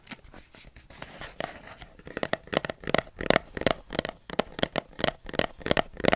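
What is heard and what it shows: Fingertips tap a large, hollow black plastic perfume spray bottle with a trigger pump, probably partly filled with perfume, held in one hand beside the microphone and possibly shaken. A soft, rustling, scratchy start gives way to a quick series of dry, hollow taps with a mid-range knock and a bright edge that die away almost instantly.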